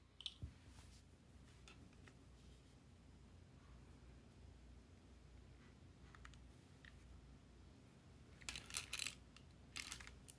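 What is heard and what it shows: Fingertips hold a small, hollow lilac plastic Sony PSP with its screen off and turn it from front to side to back, tapping and clicking on the plastic shell and buttons. A couple of sharp taps open the clip, followed by quiet, soft handling over a low steady rumble, then clustered bright clicks near the end. Each click is short and dry, with no ring.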